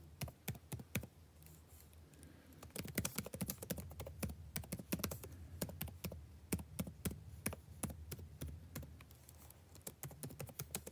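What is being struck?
Plastic laptop keyboard.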